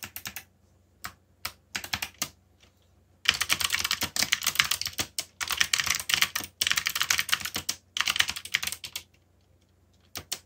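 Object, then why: Mechanical keyboard with plastic keycaps. Fingertips type on a backlit mechanical keyboard with black plastic keycaps, starting with a few short bursts of keystrokes. Long runs of rapid, crisp clacking follow, broken by brief pauses, then a final quick burst. The clicks are bright and sharp with almost no low end and die away instantly.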